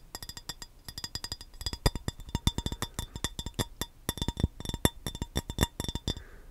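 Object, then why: Empty glass baking dish. An empty, hollow, rectangular clear glass baking dish, held in the hands, is tapped with the fingernails and fingertips in a fast, uneven string of taps. Each tap is a short, dry click with a low thump and a faint bright glassy ping that dies away almost instantly.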